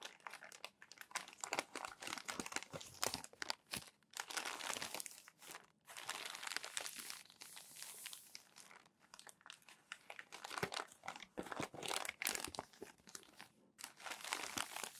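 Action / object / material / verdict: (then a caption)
scrape / glossy magazine pages / glossy paper / none. Hands rub and smooth crumpled glossy magazine pages with their palms and flip them over, making dense, bright crinkling and crackling. The crackle comes in bursts with brief quiet gaps, and there is almost no low end.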